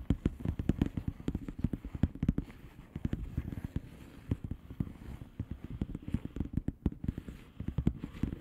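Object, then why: Plastic bubble wrap envelope. Long painted nails of both hands rapidly tap and scratch a flat blue plastic bubble wrap envelope with air-filled bubbles. Dense, quick, dull low thumps mix with sharp clicks and a soft scratchy rustle. Each hit dies away almost instantly, leaving a steady irregular patter.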